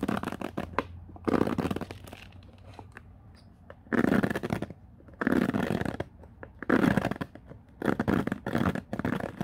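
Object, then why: Plastic paddle hairbrush bristles. Fingertips sweep and scratch through the many white-tipped plastic bristles of a black plastic oval paddle hairbrush lying on a wooden floor. This produces bursts of dense, crackling, rustling scratches. The bursts alternate with quieter pauses and faint ticks, and their body is warm and low-mid.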